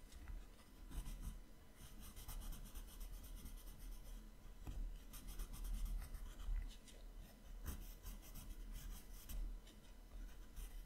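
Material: Paper.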